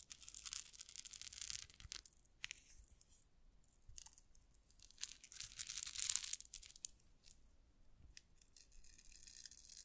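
A gold-toned rhinestone cup-chain tassel with small solid metal links has its strands run through long nails and jiggled. This makes bright, high, crinkly jingling in soft bursts with brief pauses between them, and the loudest rustle comes near the end.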